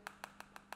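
Five quick, light clicks come from tapping the side buttons of a Xiaomi Mi 4S smartphone, the volume buttons and power button on the right edge. Each tap is a short, dry tick with a slight rattle, as if the buttons wobble a little. This suggests the buttons are slightly loose.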